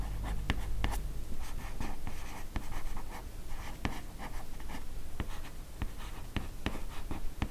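Long nails scratch and tap along the left edge of the matte cardboard cover of a large hardcover comic album, "Les carnets de Cerise," lying flat. A steady, soft scratching runs throughout, broken by short, dry taps that cut off almost at once, with most of the energy sitting low.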